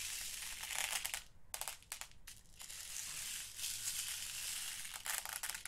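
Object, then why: Small glass seed beads in a plastic storage box. Fingertips rake and stir through small purple, blue and clear glass seed beads loose in an open, small clear plastic storage box. The result is a dense, crunchy rattling with a bright, hissy texture, broken by a couple of brief pauses before the stirring resumes.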